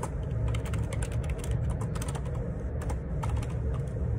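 Fingertips type rapidly on the plastic keycaps of a black Perixx Periboard 612 wireless Bluetooth ergonomic split keyboard with a hollow plastic housing, lying on a grey laminate desk. A dense, continuous clatter of bright clicky taps runs over a steady low hum.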